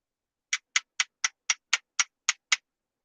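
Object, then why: Plastic flash hider on a BB gun. Nine quick, bright taps sound on the simulated plastic flash hider of a BB gun, which is not painted bright orange as regulations require. Each tap is a dry, high-pitched click with almost no ring, coming about twice a second at a slightly uneven pace. The taps sound like plastic.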